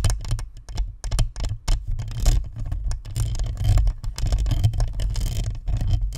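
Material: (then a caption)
Plastic. Long nails tap and scratch across the perforated metal grille and chrome badge of a hollow, white plastic spherical microphone. The result is a dense, rapid flurry of close taps and scrapes, carried mostly as deep, boomy thumps around a low hum, with faint bright crackle on top.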